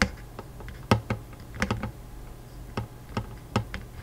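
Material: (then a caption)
Wood. Fingertips tap rapidly on the metal strings of a Taylor acoustic guitar with a hollow wooden body, over the soundhole and fretboard. About ten short, irregular taps land with quick decay, each bringing a low, resonant body hum beneath brief bright string clicks.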